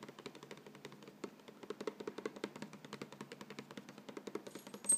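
Fingertips and nails rub and scratch across the front face of a medium-size, hollow yellow Vegetable Thins cardboard cracker box, probably filled with crackers, lying on a chair. The result is a rapid, uneven string of short, dry, papery scratches and taps, with a brief louder, brighter scrape at the very end.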